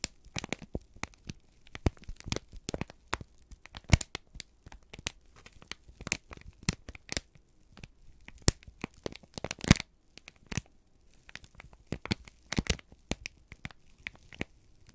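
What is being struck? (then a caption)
Sheet of kraft paper. A single thin, flexible sheet of crumpled brown kraft paper is held in both hands and squeezed, bent and crinkled with the fingertips and thumbs. Dense, irregular crackles and sharp crinkling snaps run throughout. Each snap is brief and broadband, reaching high and bright, over a low, soft rustle.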